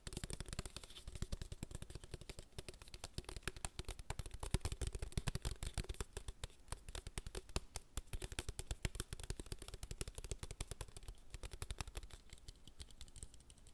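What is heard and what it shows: A clear plastic water bottle with a blue label and white cap is held in one hand while the fingertips of the other hand speed-tap the label area. The result is a fast, continuous stream of short, dull plastic taps, mostly low and thumpy, with some bright crackling.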